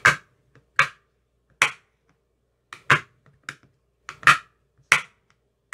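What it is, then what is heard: Empty plastic ice cube tray tapped with a rod. Slow taps of a thin metal rod with a white tip into the cells of an empty clear plastic ice cube tray with green silicone cell bottoms. Nine sharp, bright clicks sound at irregular intervals, each decaying quickly, with faint softer ticks between them.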